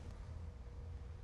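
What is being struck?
Nothing is struck.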